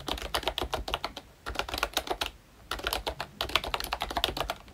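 Both hands tap with their fingertips across the round black keycaps of a pink plastic ROYCHE Disney Mickey Mouse retro membrane keyboard. Rapid, light, bright clicky taps with very short decay come in quick runs, with two brief pauses in between, and the clicks peak around 3.4 kHz.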